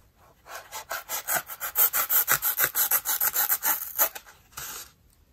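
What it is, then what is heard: Dry melamine sponge being sliced. A small, solid, rectangular dry white melamine-type foam sponge, held flat in a white plastic basin with fingertips pressing it down, is sliced and scraped with a green utility knife blade. A quick, fairly even run of dry, raspy cutting strokes follows, each a bright, papery scratch. The sound fades out with a final stroke.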